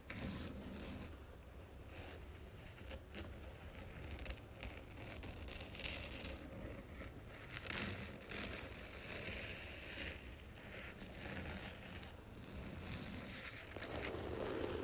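A long fingernail taps and scratches the spine of a red cloth-bound hardcover book held on its edge. Quiet, quick, irregular taps mix with dry, bright scratching over a soft low background rumble. The sound grows slightly louder toward the end.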